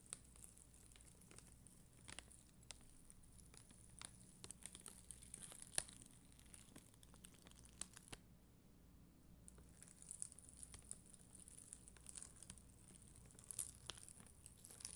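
A flat sheet of red and clear acrylic rhinestone gem stickers is scratched with a black mascara spoolie, with long green nails nearby. It makes a quiet, steady, bright crinkly scratching dotted with small sharp ticks. The scratching briefly thins out just after the middle before picking back up.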